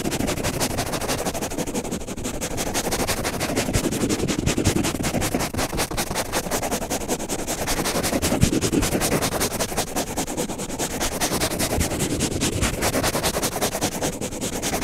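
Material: Nylon fibre.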